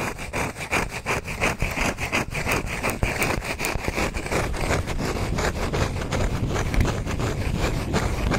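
Fingernails scratch across the cut face of a palm-sized, round, solid wood log slice with a bark rim, held in the hand. Rhythmic, dry rasping strokes start out spaced apart, then run together into a denser, steadier scratching. The sound has a bright hiss over a low, rough body.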